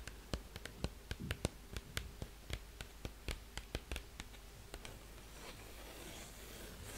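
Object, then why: Cardboard LP sleeve. Long painted fingernails tap a held-up, large, flat, green 12-inch cardboard sleeve of the Keane *Hopes and Fears* LP. A quick series of short, dry, clicky taps fades into soft, steady scratching across the cardboard surface for the last couple of seconds.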